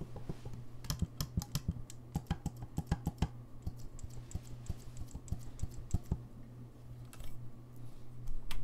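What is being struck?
Brass saxophone keys.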